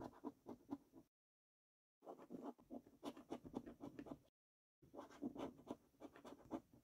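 A coin scrapes the latex coating off a thin paper scratch card resting on a wooden table. Quick, dry scratching strokes come in three bursts separated by short silences, with a soft, mid-pitched rasp.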